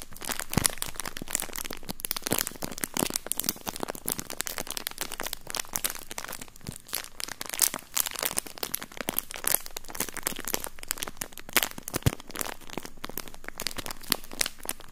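A thin, empty, flexible clear plastic bag is crumpled and rubbed by fingertips close to the microphone. It makes a steady stream of dense, bright crinkles and sharp crackles that last the whole clip with no pauses.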